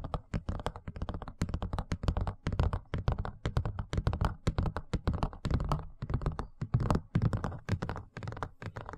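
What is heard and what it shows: A large, thin, empty white plastic tray is held in front of the microphone and tapped and scratched across its surface and rim with the fingertips and nails. Quick, dense taps land in a steady, irregular patter, each a short, dull, low thump with a light clicky edge that dies away almost at once.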